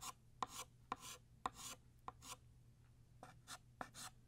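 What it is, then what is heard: Chalk stroking on a chalkboard. A blue chalk stick is traced back and forth along a line on a flat black chalkboard, thickening the line. Each stroke starts with a sharp tap and trails into a bright, dry rasp, repeated at an uneven pace of about one stroke per second. A faint steady low hum sits underneath.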